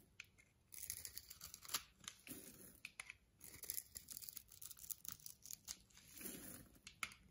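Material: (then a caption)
Soap. A metal blade scrapes and shaves the surface of a solid, palm-sized white bar of soap held in the hand, raising fluffy white soap curls. The sound is a quiet, bright, crisp rasping, made of many short scraping strokes that blur into near-continuous crackle.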